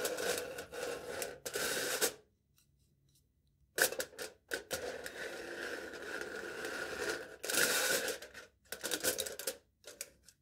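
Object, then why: Aluminium foil stretched over a cup. A knife tip taps rapidly on the taut aluminium foil stretched over the top of a hand-held, foil-wrapped cup, producing bright, crinkly rattling bursts with a steady ringing tone around 1.5 kHz. The tapping comes in uneven flurries with a short silent pause early on.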